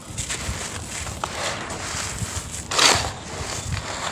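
Solid, crumbly clumps of dry grey cement-sand are scooped from a pile and crushed in cupped bare hands, then the powder is pushed and rubbed back into the pile. The result is a steady, bright, gritty crackle and rustle with soft low thumps, swelling into a louder grinding crunch near the three-second mark.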